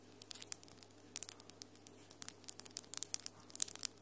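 Long, solid acrylic nails with glitter polish click and rub against each other, making about twenty quiet, sharp, bright ticks with soft crinkly scraping between them. Each click is dry and dies away at once, over a faint steady low hum.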